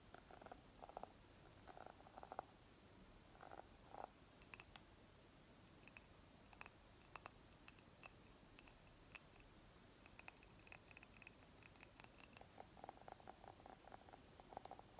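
Long fingernails scratch and tap on the glass sides of a small round candle jar with a ribbed glass top, filled with solid green wax and held in both hands. Soft, dry scratching runs under many quick, light taps with short clicky bright rings. The taps are scattered unevenly through the clip.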